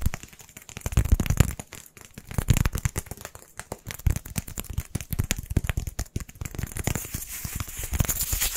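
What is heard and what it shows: Two matching small white solid styrofoam balls, one held in each hand, are tapped and scratched quickly with fingertips and nails. The result is a dense, continuous stream of sharp dry clicks and crackly scratches over soft, dull low thumps, with no speech.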